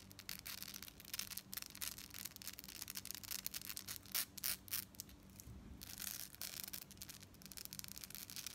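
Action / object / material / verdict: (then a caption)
scrape / metal bead fringe necklace / metal / none. Long nails scratch and tap a gold-tone metal beaded necklace section with a chain fringe, held up close. The result is a dense, bright, high-pitched rasping and rubbing texture broken by quick, sharp clicks. A few louder bursts near the middle stand out over a faint low hum.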